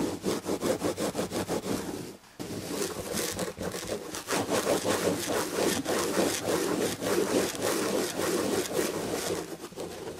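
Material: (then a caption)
Chenille fabric. Long red-painted nails scratch the damask chenille fabric on the back of an upholstered chair, making a quick, steady, rasping rub with a bright hiss. The strokes run in rapid back-and-forth bursts with a brief pause near two seconds before the scratching resumes.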